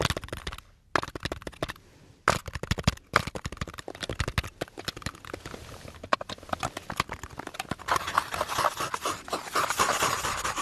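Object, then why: Small bundle of light wooden sticks. A small bundle of light, solid wooden sticks or slats is held in both hands and tapped and rubbed with fingertips and nails. It makes quick, dry wooden clicks and clatters with very short decay, broken by brief pauses. In the last few seconds it shifts to a denser, brighter scratching rustle.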